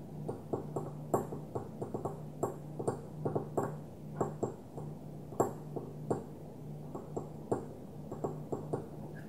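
A small, opaque white glass perfume bottle lying on its side is tapped gently with fingernails from one hand. The irregular run of light, quick taps each gives a short, dull clink centred around 400 Hz that fades almost immediately. A faint steady low hum sits underneath.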